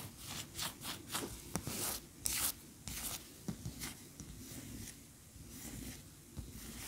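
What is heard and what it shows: Long fingernails tap and scratch a large cream solid wax pillar candle standing upright. Bright, dry scratching strokes come in short, uneven bursts, broken by a few sharp taps.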